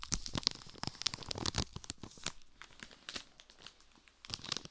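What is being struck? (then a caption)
Wafer biscuits in plastic film wrapper. A full, hand-sized pack of ridged wafer biscuits sealed in clear plastic film is held and squeezed and rubbed with fingertips beside a binaural dummy head, crinkling the wrapper. Quick, bright crackles and crinkles come in dense bursts, easing off in the middle before a final flurry. Each crackle stops dead with no ring.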